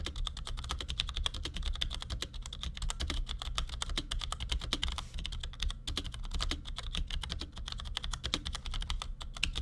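Fingertips of both hands type in quick taps on a compact black plastic Cherry G84-4100 keyboard with ML switches resting on a desk. A dense, steady stream of short, crisp clacks with a bright edge runs throughout, each tap dying away almost instantly over a constant low hum.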